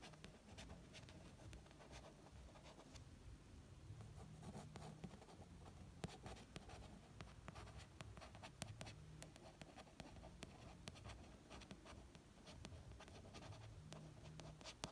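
A fingertip traces and taps along the cover text of a red paperback novel, "Elizabeth is Missing," which has a glossy card cover over a solid paper block and lies flat. Soft, dry scratching of the tracing runs continuously, dotted with quick, muted taps that stop at once. The sound is quiet and mostly low.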